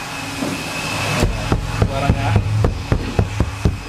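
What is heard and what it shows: An untreated sheet-metal door panel on a Suzuki Swift, with no sound-deadening applied yet, is knocked about ten times in a quick, uneven series. Each knock is a short, low, hollow thud centred around 105 Hz with very little ring, heard over a steady low background hum.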